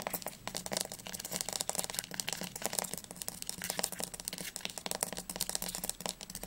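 Fingernails tap and scratch quickly along the spine and cover edge of a teal paperback book. The result is a fast, continuous stream of crisp, bright clicks mixed with dry scratching, with each tap dying away almost instantly and only a faint low hum underneath.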